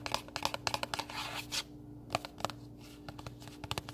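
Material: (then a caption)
Cardboard. Fingernails tap and scratch a small pink printed cardboard recipe box, closed and hollow and held in both hands. A quick run of sharp, dry clicks gives way to a brief bright scratching rasp, then a quieter stretch before more scattered taps. A faint steady low hum runs underneath.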